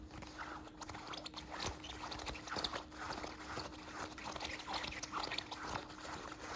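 A small beige nylon zippered belt bag is held in one hand while fingertips and nails scratch and rub its fabric front. The result is a quiet, bright, irregular scratching and rustling with soft tapping accents over a faint steady hum.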